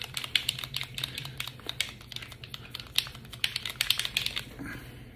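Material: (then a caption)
Paint. A bottle of thick, hard-to-mix metallic paint is shaken by hand, and the mixing ball inside rattles in rapid, uneven clicks. The clicks are bright and sharp with very short decay, and a low hum runs underneath. The ball knocks dully through the paint, showing how thick it is.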